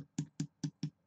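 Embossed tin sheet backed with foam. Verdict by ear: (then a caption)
Hollow. Five taps on an area of embossed tin sheet backed with urethane foam produce short, low, hollow drum-like knocks centered around 150 Hz. The hollow sound marks a spot where the foam did not fill in behind the tin, and the tin gives a little when pressed there.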